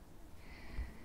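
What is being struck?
Nothing is struck.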